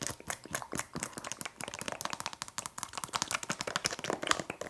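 Long nails rapidly tap and scratch a filled Frosch liquid soap refill pouch made of flexible plastic with a spout. The result is a dense run of sharp, dry clicks and crinkly scrapes, bright in the high frequencies with almost no ring after each hit.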